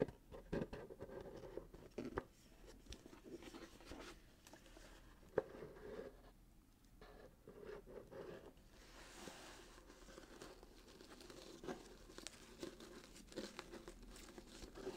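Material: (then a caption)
Cardboard, paper. A small, closed, hollow cardboard box in gold glitter-striped wrapping paper with a satin bow is held and turned in the hands while fingertips scratch the wrapping paper, including its side edge. The clip is quiet, with soft, dry scratching and papery rustling, scattered short ticks, and a faint hollow mid-range body.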